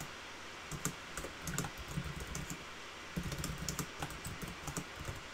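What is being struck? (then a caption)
Plastic laptop keyboard. Fingertips type on a black backlit plastic laptop keyboard, producing quick, light clicking key taps in two bursts with a short pause between them. A soft, steady low background hum sits under the bright, brief clicks.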